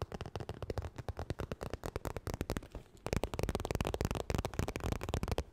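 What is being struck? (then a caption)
Textured vinyl makeup bag. Fast fingernail tapping and scratching on a holographic crocodile-textured vinyl makeup bag produces a rapid stream of short, dry, low-heavy clicks with quick decay. A brief lull near the three-second mark is followed by denser, louder tapping to the end.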